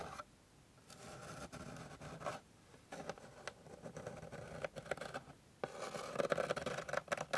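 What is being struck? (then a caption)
Flat wooden board. Long pink nail tips rapidly scratch and tap on a flat, light, solid wooden board. Bursts of dry scratching with a mid-range rasp alternate with brief quiet pauses. The final stretch is the loudest and brightest.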